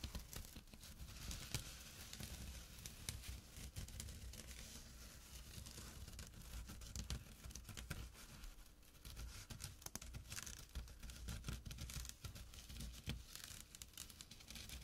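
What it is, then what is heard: Burlap drawstring bag. Fingertips and short nails scratch the coarse woven fabric of a small, empty jute burlap drawstring pouch lying flat on dark cloth. The result is a steady, dense rasping and crinkling, like fine tearing, with bright scratchy edges over a low, soft rumble. It goes on without pause for about fifteen seconds.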